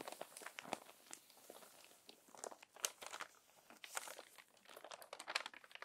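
A crumpled paper magazine is handled as hands smooth the crinkled pages with fingertips and long nails, then turn a page. Dense, bright crinkling and crackling with many sharp, short crunches comes and goes in uneven bursts, with almost no low end.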